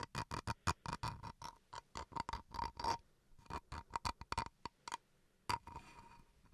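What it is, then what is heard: Bamboo wood chopping board. Fingernails scratch the face and edges of a small solid bamboo wood chopping board in quick, short strokes. Each stroke gives a soft, dry scratch with a faint ringing tone near 1 kHz, and the strokes come in a rapid series with brief pauses. The clip ends on a lighter, drawn-out scrape.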